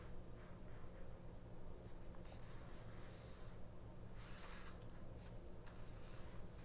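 A small open paperback mini-book with glossy ad pages lies on a cloth while long nails scratch and tap along the page edges and across the same spread. Soft, dry paper scratching comes in brighter bursts over a steady low hum, and the taps blend into the scratching rather than standing apart.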